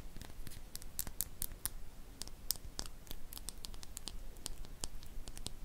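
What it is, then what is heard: Glass dropper bottle. Long painted fingernails tap and scratch a small glass serum dropper bottle with a silver cap, which appears to hold liquid and is held close. Quick, sharp, bright clicks and ticks land at an irregular pace, each dying away almost at once. Soft, scratchy rustling and a low background rumble sit beneath them.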